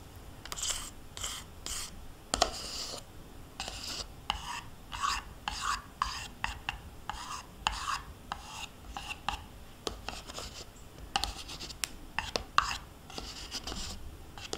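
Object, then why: Plastic yogurt cup and metal spoon. A small, hollow plastic yogurt cup, mostly empty with yogurt residue on its walls, is held in one hand while a metal spoon scrapes its inside wall and bottom. The result is a steady run of short, bright rasping scrapes with quiet gaps between them. Occasional sharp clicks and faint squeaky tones near 1.1 kHz come through.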